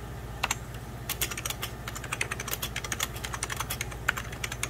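Fingertips with medium-length pink nails type and tap on an old beige 90s Packard Bell plastic computer keyboard with mechanical-style keys and a hollow body, resting on a white cloth. The result is a quick, irregular run of sharp, bright, hollow plastic clicks that die away almost instantly, over a steady low hum.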